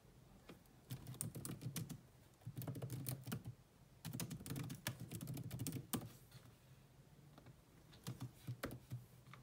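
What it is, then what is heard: Plastic laptop keyboard being typed on. Long nails and fingertips type on a grey laptop keyboard with black plastic keys, making quick, irregular clicky taps. The typing comes in bursts separated by short quiet pauses, with a soft low thud under each bright, short-lived click.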